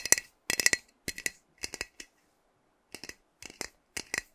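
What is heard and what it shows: Fingernails tap on a hand-sized, hollow metal aerosol hair spray can with a pink plastic cap while it is held. Quick, bright, clicky taps come in short bursts of two to four, with brief pauses and a longer gap near the middle. Each tap dies away almost at once.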